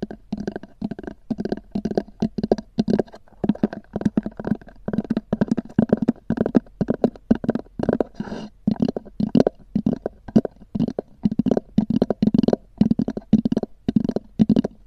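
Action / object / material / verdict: tap / EVA foam hard-shell zippered case / EVA foam / none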